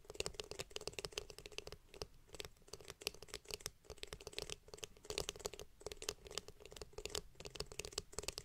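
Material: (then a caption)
Plastic. Long painted nails tap and scratch the curved, glossy blue hollow plastic back of a detangling hairbrush held close to a microphone. A quiet, rapid stream of sharp clicks and scratchy rustles with bright high-end crackle carries a faint hollow resonance around 418 Hz. Each tap dies away almost instantly.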